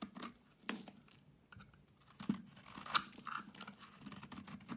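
A utility knife blade shaves curls off a solid oval bar of soap with a green rind and pale yellow inside, held in the hand. Soft, dry scraping and crisp, crackly cutting strokes come in irregular bursts, with bright, papery detail and a few sharper snaps as the curls break away.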